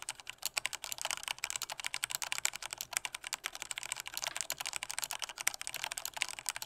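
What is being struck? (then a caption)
Plastic mechanical keyboard. Fingertips of both hands type hard on a full-size black plastic Corsair K68 mechanical keyboard with Cherry MX Red switches and a hollow body. A fast, steady run of sharp, bright key clacks fills the clip, with almost no low end. Each keystroke stops almost instantly.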